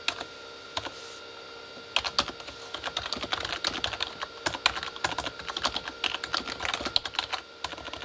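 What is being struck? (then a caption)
Plastic keyboard with plastic keycaps. Both hands type with their fingertips on a full-size Corsair K35 backlit plastic mechanical keyboard with plastic keycaps on a hollow plastic body. After a few sparse taps, a steady stream of rapid, bright, clacky keystrokes follows, each tap short and dry over a faint constant hum.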